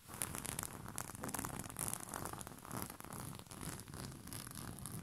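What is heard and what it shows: Short fingernails of both hands scratch quickly over a bunched white rose-print cotton bed sheet. The result is a dense, continuous scratchy rustle with bright, crisp high-end texture and a soft low rumble underneath, staying fairly quiet throughout.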